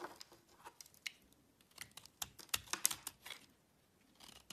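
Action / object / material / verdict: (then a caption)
scrape / soap bar cut with a small knife / soap / none. A solid oval blue-and-white speckled soap bar, held in the hand, is cut and scraped with a small yellow-handled knife, with soap chips falling onto a black surface. Short, dry, bright scraping and crisp cutting clicks come in an irregular run, quiet overall with no low rumble and almost no ring.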